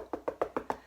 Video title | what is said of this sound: How to Choose The Best Watermelon Every Time - Sweet, Juicy, Red & Ripe | you can tap on them to see if they sound full or hollow as well. I don't know if you can hear this. See? It's absolutely solid.